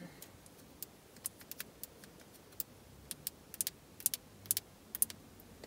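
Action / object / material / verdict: tap / plastic gear-stick knob tapped with fingernails / plastic / none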